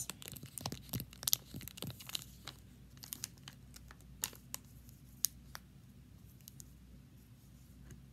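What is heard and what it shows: A large Twizzlers plastic bag full of red licorice is held up and tapped, scratched and crinkled with fingertips and long nails. Sharp, bright crinkles and clicks come thick and fast in the first couple of seconds, then thin out to scattered taps and light scratching over a low, steady background hum.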